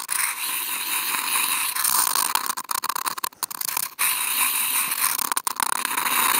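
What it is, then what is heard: Corrugated cardboard sheet scratched with toothpicks. Two wooden toothpicks, each clipped to a contact mic and held in the fingers, are scratched across a large flattened brown corrugated cardboard box lying flat. The result is a steady, bright, hissing scrape with a raspy tone around 940 Hz and almost no low end. The scratching breaks into short choppy strokes through the middle before resuming as a continuous scrape.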